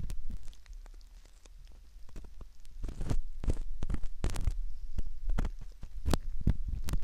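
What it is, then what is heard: Silicone ear model scratched with a metal pick. A metal ear pick scratches at the canal entrance of a soft silicone ear model, heard very close up. Irregular soft scrapes and sharp little clicks ride over a steady low, muffled rumble, with some busier, brighter bursts of scratching toward the middle and end.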